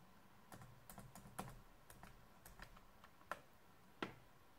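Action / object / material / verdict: tap / plastic laptop keyboard / plastic / none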